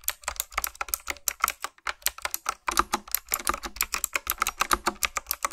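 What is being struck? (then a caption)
Plastic mechanical keyboard with round metal-rimmed keycaps. Fingertips and nails type and tap on a black, backlit, hollow, retro typewriter-style plastic mechanical keyboard with round keycaps set in metal rims. A quick, steady run of sharp, clacky clicks sounds, each dying almost instantly, centered around 1.2 kHz with bright highs and almost no low end.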